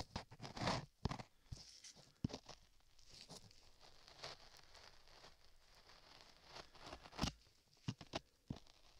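A metal chisel held in a gloved hand scrapes the lower surface of solid beige modeling clay covering a microphone ear. Close, dry scrapes and crackly rasps come in short bursts with bright edges and low thumps, separated by a quieter stretch of soft rustling.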